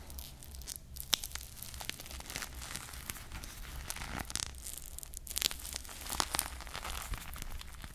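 A hand-sized foam squishy toy ice cream bar on a wooden-look stick, its soft foam body coated with small glued plastic bead sprinkles, is held in one hand and squeezed and scratched with long painted nails close to the mic. The result is a steady, quiet stream of dry, bright crackling and tearing-like scratches, with a few sharper clicks over a faint low hum.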